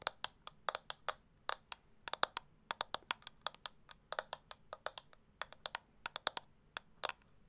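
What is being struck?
Plastic makeup compact.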